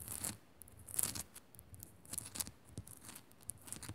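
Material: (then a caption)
Rock salt. Long nails scratch quickly across the rough surface of a small, solid pink Himalayan rock-salt crystal lamp. The result is a series of short, dry, bright scraping bursts with a crackly hiss, separated by brief pauses, and some faint low thuds underneath.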